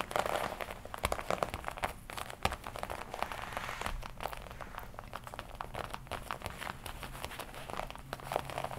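Nails and fingertips tap and scratch the black leather chest panel of a worn red-and-black smooth leather jacket with D-rings. Quick, dense clicking taps mix with soft crinkling and scratchy rustles throughout, with brief louder taps standing out now and then at a fairly quiet level.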